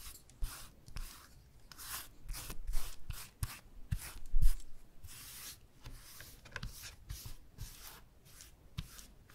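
A bristle brush with a wooden handle rubs liquid varnish across a flat, thin plywood board with a burned skull design, lying on a cloth. Repeated short brushing strokes make soft, bright swishes with faint low thumps as the bristles drag and tap the surface.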